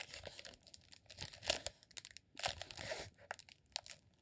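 A green, honeycomb-textured rolled beeswax sheet, shaped into a solid cylinder and held in one hand, is scratched and rubbed with fingertips and nails. It makes dry, crinkly, crunching scrapes in quick bright bursts with short gaps between them. There is little low end and almost no ring after each stroke.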